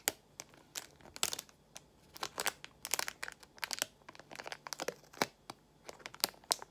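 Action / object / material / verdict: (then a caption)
scrape / small plastic pouch of nail gemstones / plastic / none. Long nails squeeze and crinkle a small translucent plastic pouch of nail gemstones, producing a dense run of sharp, bright crackles and taps. The crinkling comes in quick bursts that stop dead with no ring, over a quiet background.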